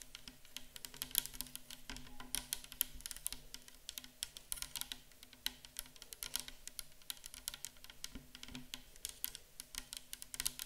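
A tall clear plastic micellar water bottle, mostly full of pale liquid, is tapped and scratched on its sides with long acrylic nails. The result is a fast, steady patter of sharp, bright clicks that die away almost instantly, over faint scratching and a low hum.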